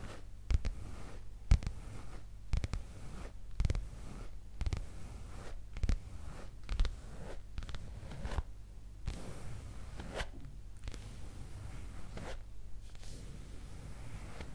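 A soft black leather skirt, held up close, is scratched with long green acrylic nails, giving dry, rustling scrapes and brief scratchy bursts. The sounds come in an irregular stream of short strokes with low rumbling handling noise underneath.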